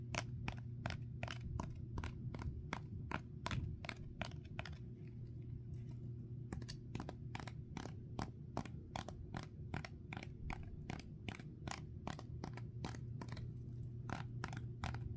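Fingertips and nails tap and lightly scratch across a small foam sponge coated in dried, cracked greenish clay, held in the other hand. The result is a steady run of sharp, dry clicks with bright crackly edges over a constant low hum, with a brief quieter stretch about a third of the way through.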